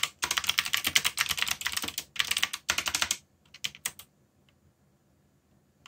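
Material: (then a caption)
Plastic. Fingertips type rapidly on a black mechanical keyboard with yellow backlit plastic keycaps. Dense, bright, clacky keystrokes run in quick bursts for about three seconds, followed by a short pause and a few final taps. The clip then falls to near silence.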